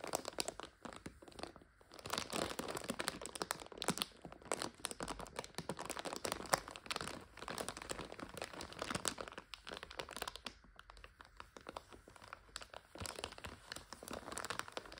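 A full plastic bag of dry egg noodles is tilted and squeezed while long nails scratch across it, crunching the noodles inside. Dense, bright crinkling and crackling run almost nonstop for the whole clip in quick, sharp bursts, with brief quieter dips near the 2- and 10-second marks.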